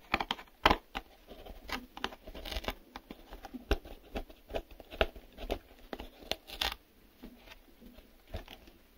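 Fingertips and nails tap and scratch the sides and white inner flaps at the open end of a small, empty, printed cardboard retail box. An irregular run of short, dry, hollow taps stops quickly, mixed with crinkly scratching and a faint steady high hiss.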